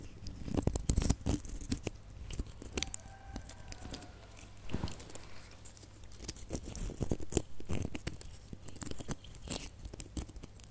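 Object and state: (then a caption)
Glitter-coated plastic baubles scratched. Fingernails scratch the rough glitter coating of a cluster of small, hollow red glitter plastic Christmas baubles. The result is a dense run of short, dry crunching and crackling scratches over a low hum. The scratching swells in bursts near the start and again later in the clip.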